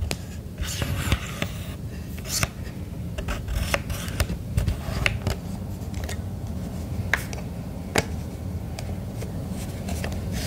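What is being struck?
Plastic hand-held radio casing.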